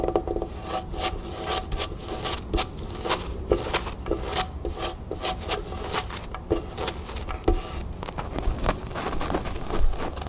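Long nails scratch a small beige cotton canvas drawstring bag printed with a gold crown, first against a table and then held up in the hands. Quick, dry rubbing strokes and brighter scraping bursts repeat steadily over a soft low rumble.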